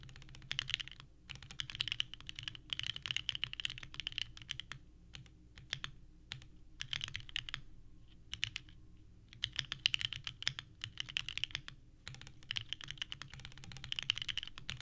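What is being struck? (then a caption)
Mechanical keyboard with plastic keycaps. A small 65% mechanical keyboard with a purple case and white ABS keycaps sits on a desk mat and is typed on continuously with the fingertips of both hands. The clacky key presses come in rapid bursts with brief pauses, each click short and bright, over a faint low hum.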